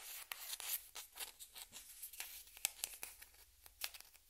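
A small hollow white plastic ping pong ball held in the hands is scratched and rubbed, first with a yellow-handled metal pick and then with long red-painted nails, while other balls sit on a cloth-covered table. Quiet, bright, dry scratching strokes come in short bursts with almost no low end.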